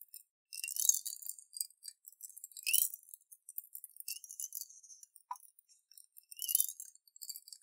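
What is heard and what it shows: A clear glass jar with a silver metal screw lid, about half full of water with small colorful beads inside, is held in both hands and turned and shaken so the water sloshes and the beads clink against the glass. Quiet, bright, rattling clinks and trickling splashes come in scattered bursts, with louder swells near the start, middle and end. The sound stays high with no low end, and each clink dies away almost at once.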